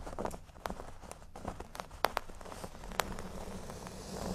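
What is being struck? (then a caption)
Cork board. Curled fingers with short nails scratch across a large, flat, solid cork board shaped like a speech bubble. The scratching is a soft, dry rasp broken by irregular sharp ticks and brighter clicks. The sound stays quiet and close throughout.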